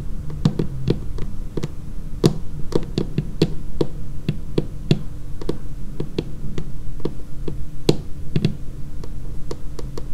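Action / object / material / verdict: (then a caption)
tap / laminated wooden tabletop edge / laminated wood / none. Long painted fingernails tap rapidly along the edge of a dark laminated wooden tabletop. Each tap is a short, sharp click with a brief low thump, falling into an irregular, continuous rhythm over a steady low hum.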